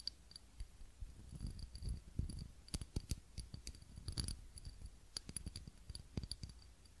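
Fingernails tap and click on a small clear ribbed glass cup holding a lit tealight candle, held in both hands. Quick, quiet clicks come in irregular bursts, each with a short bright glassy ping over a soft low rumble.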